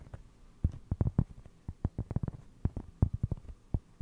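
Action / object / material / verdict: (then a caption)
tap / cork trivet / cork / none. A round solid cork trivet held behind the mic is tapped and scratched with fingertips. Soft, dull, low thumps come in an irregular run, each dying away almost instantly, with faint scratchy texture between them.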